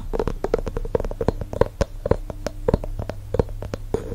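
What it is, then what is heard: Glass candle jar with wooden lid. A medium glass candle jar filled with wax, with a round wooden lid, is tapped and scratched on the lid and the top of the jar by fingertips and nails. Quick, dry taps come in a rapid, uneven stream, each with a short hollow knock around a mid pitch and almost no ring. A low hum runs underneath.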